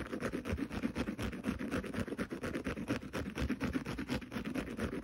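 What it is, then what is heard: Green scouring pad scratched. A small kitchen sponge resting on carpet, its green synthetic scouring pad facing up, is scratched rapidly with fingernails. The result is a continuous, raspy scratching made of quick, uneven strokes with a dry, coarse texture, centred in the low-mids, with each stroke dying away almost instantly.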